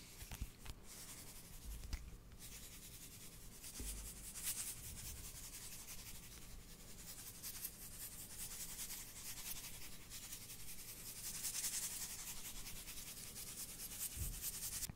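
A blue cardboard tube of salt is tilted and shaken close to the mic, so the salt slides and hisses inside. The result is a steady, quiet, bright granular rushing that swells in waves, with a few soft low knocks from the canister near the start.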